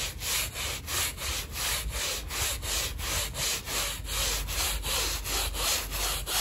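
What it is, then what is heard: Wet woven rug being scrubbed. A handheld stiff-bristle brush is scrubbed vigorously back and forth across a small, wet, muddy, fringed woven rug covered in thin foam. Each stroke makes a bright, wet scratching rasp, repeating in a steady, quick rhythm of about three strokes per second.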